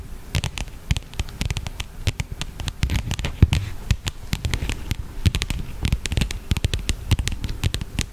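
Long fingernails tap and scratch along the surface and edges of a flat black leather wallet or case held close to the microphone. The result is a dense run of quick, dry, clicky taps, each with a soft low thump and bright crackling edges, mixed with faint scratching.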